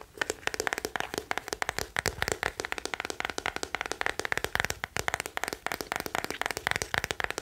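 Fingertips and nails rapidly tap the hollow hard-shell back of a small hand-held teal plastic scalp massager brush held in the other hand. About 46 quick, dry, clicky taps sound in a steady flurry, each with a bright hollow tone near 1.7 kHz that dies almost instantly.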